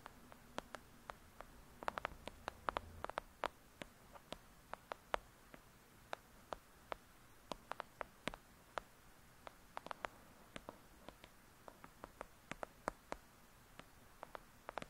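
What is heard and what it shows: Long acrylic nails tap rapidly on the cover of a thick, solid "Lady Midnight" paperback book. Dozens of quiet, sharp, clicky taps come in uneven bursts, each dying away at once, against a faint steady background.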